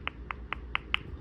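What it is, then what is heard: Acrylic nail not yet dry. An acrylic nail that is not yet dry is tapped five times, giving short, light clicks with a bright tone near 2.9 kHz and almost no ring. The taps sound different from those on a dry nail, showing the acrylic has not cured yet.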